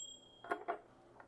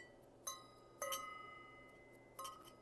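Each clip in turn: First: brass object, dull non-ringing. Second: bell metal object, rings clearly.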